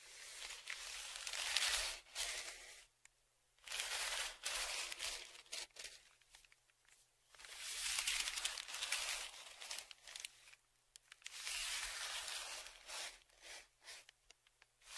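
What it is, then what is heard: Kraft paper padded mailer. A thin dark tool is scratched and dragged across a large flat brown kraft paper padded mailer lying on a table, with the other hand holding the mailer down. Bright, dry rasping and crinkling scrapes come in long strokes and shorter scratches, separated by brief quiet pauses.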